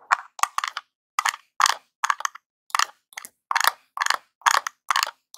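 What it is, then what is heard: Plastic game controller. A jewelled metal claw nail scratches and taps the D-pad and face of a small hollow NES-style plastic controller lying on cloth. A series of short, separate scratchy bursts with a bright, crackly edge and a hollow plastic clatter stop dead between strokes, with no low end.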